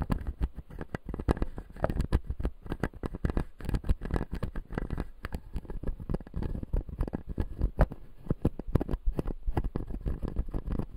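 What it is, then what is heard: Plastic dental teeth model. A fingertip taps and scratches the white plastic teeth of a closed, solid, clear acrylic dental model. A dense, steady stream of quick, dull taps mixes with soft scratching. The sound sits mostly in the low range, with almost no brightness and no ring after each contact.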